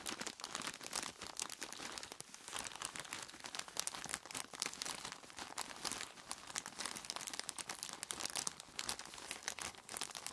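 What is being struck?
Plastic bag full of ice cubes.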